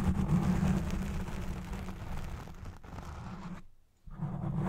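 Long red nails scratch the edges of a black foam windscreen on a Blue Yeti Pro microphone, first with both hands and then with one. The result is a close, dense, low rumbling scratch that fades into near silence just before 4 seconds. The scratching then returns loudly at the end.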